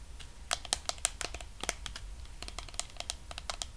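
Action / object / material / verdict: tap / plastic cosmetic jar with lid, tapped and scratched by fingernails / plastic / none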